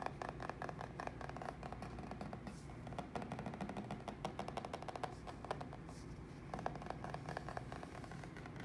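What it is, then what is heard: Papered plaster wall. Fingertips and short nails scratch and tap across a flat, solid plaster wall covered in green floral wallpaper beside white painted door trim. The result is a quiet, dense run of soft, dry taps and scratchy rustles with a faint mid-pitched tone around 670 Hz, each tap dying away almost at once.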